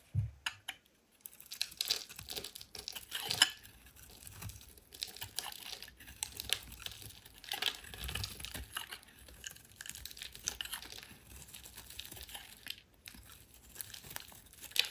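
A solid oval white soap bar held in the hand is shaved with a metal utility knife blade. Quiet, bright, crinkly scraping and crisp shaving strokes run continuously, with short dry crunches and very little low end.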